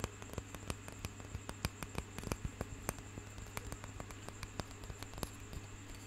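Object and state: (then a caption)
Wooden roller massager. A light wooden hand massager with a knobbed roller on a curved handle is held close to the microphone and tapped and scratched with fingertips and nails. About 23 short, dry clicks and taps ring out over a steady low hum and soft, bright scratching hiss.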